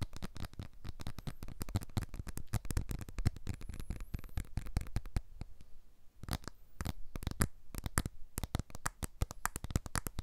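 A blue iPhone 12 smartphone with a glass back and aluminium frame, a small, solid device, is held upright close to the mics while its glass back is tapped with the fingertips in a finger-by-finger sequence. A rapid, uneven run of short, dull taps follows, heavy in low thump with almost no high end and no ring after each tap. The tapping briefly thins out around the six-second mark before picking up again.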